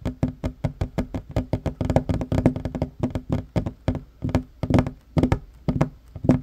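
Short fingernails and fingertips of both hands tap quickly on a worn wooden tabletop, a large solid surface. Dry, dull knocks come in a rapid, uneven patter, each with a low hollow tone and a very short ring, some landing harder than others.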